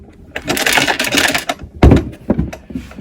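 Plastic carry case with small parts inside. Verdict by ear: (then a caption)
Loose. A plastic carry case for a Trend T11 router is picked up and shaken, producing bursts of hard rattling and clattering from several loose accessory pieces inside. The pieces had escaped their bags and are hidden behind the case's cut-outs, so they need to be dug out.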